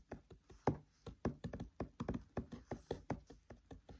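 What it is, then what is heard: Fingertip taps on open paper book pages. Fingertips tap on the paper pages of an open paperback book, close up. Seventeen short, dull, quiet taps fall in an uneven rhythm, each with a soft low-mid thud and almost no ring.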